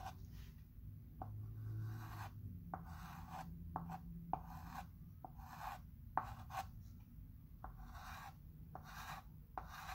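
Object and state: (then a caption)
Chalk pencil scratching on a wood-framed chalkboard. A chalk pencil retraces letters on a flat wood-framed chalkboard with firm scratching strokes. Bursts of dry, rasping scratches centered in the mid range are broken by short sharp ticks as each stroke starts and stops. A low steady hum runs underneath.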